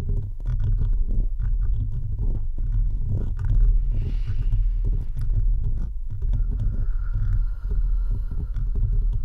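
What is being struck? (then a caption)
Metal mesh microphone grille. Fingertips and nails of both hands scratch steadily across the rounded metal mesh grille of a bare microphone. The result is a continuous, dense, low rumbling and throbbing scrape, heavy in the bass with a steady hum, and faint brighter scratchy detail above it.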